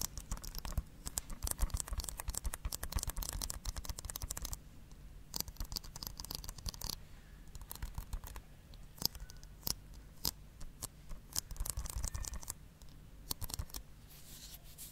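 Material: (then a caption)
Plastic. Fingernails scratch and tap a hollow blue plastic Blu-ray case with a printed sleeve, held close to the mic. Dense bursts of dry, bright scratching alternate with sharp, quick-fading tapping clicks over a low rumble. The sound drops to quieter stretches around the middle of the clip.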